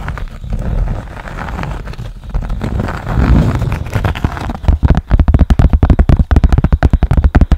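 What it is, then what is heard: Cork board. A rectangular cork board with a small yellow square on it is held against the microphone and scratched with long nails. A muffled, bass-heavy scraping rumble comes first, then gives way to a quick run of short, sharp scratches and taps.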